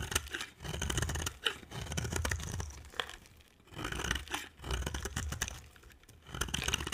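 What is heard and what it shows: A hand with long dark nails holds a solid cream bar of dry soap with an orange rim and shaves it into curls with a utility-knife blade. A series of crisp, dry scraping strokes are heard, with a bright, papery crackle over a low rumble, separated by brief quiet gaps between passes.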